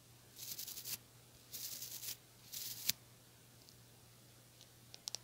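Long nails strum the white plastic bristles of a small white plastic hair brush with a teal handle. Three short bursts of bright, raspy crackling come in quick succession, the last ending in a sharp click. After a quiet pause, a few faint high ticks follow over a low steady hum.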